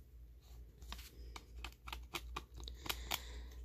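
Fingertips and nails scratch and tap along the plastic sleeve of a single hollow plastic DVD case ("Sisters"), held in hand with its back cover facing up. About ten short, crisp clicks and scrapes come at an irregular pace over a low, steady hum. The sound stays quiet throughout.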